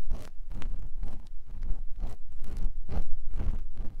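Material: Silicone.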